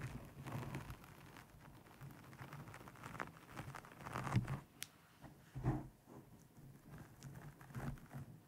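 Long painted nails rapidly tap and scratch a black foam windscreen over a microphone. The result is a close, muffled, low-heavy rustle and crinkle with irregular soft taps and brief swells of scratching, all with almost no ring.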